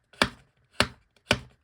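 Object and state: Thick, dense card stock paper.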